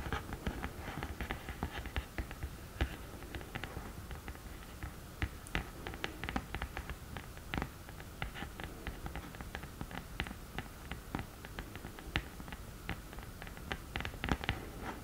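Long nails tap and scratch across the textured, printed surface of a black, glittery cardboard eyeshadow palette lid. Quick, dry, crisp clicks ring out in an uneven, steady stream over a soft, low scratching bed. Each tap dies away almost at once.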